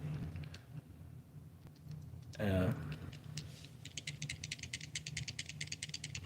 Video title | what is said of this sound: Another AliExpress unboxing Megabass knock off baits more bang for your Buck | not really a rattle just like a knock one ball on that one